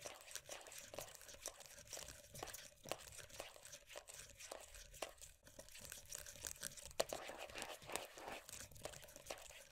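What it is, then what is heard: Plastic moisturiser tub. Long nails rapidly scratch and tap across the printed lid top and side of a closed, round plastic moisturiser tub. The result is a quiet, steady stream of dry, bright scratches and crisp clicks, with short taps that carry a faint mid-pitched plastic ring and die away almost at once.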